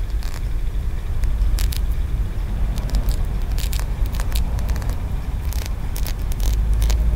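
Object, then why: Small carved aventurine stone pagoda. Short nails tap and scratch along the ridged tiers of a small, solid green aventurine stone pagoda, a Feng Shui piece held up close. Brief, bright clicks and crackly scrapes come and go over a steady, heavy low rumble.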